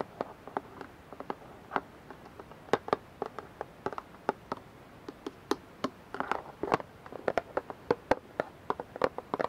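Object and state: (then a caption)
Plastic dish soap bottle. Fingernails tap and scratch the sides of a clear plastic dish soap bottle, partly filled with liquid and held in both hands. A quick, irregular run of short, dry plastic clicks centered around 500 Hz dies away almost instantly, with faint scratching underneath in a quiet background.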